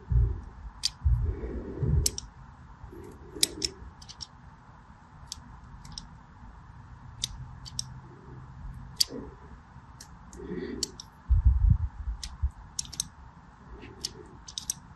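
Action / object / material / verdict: scrape / solid bar soap / soap / none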